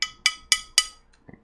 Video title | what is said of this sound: Keychron Q1- Modded for less ping and max flex! | really hollow sounding ... you can hear that from the upper and the lower case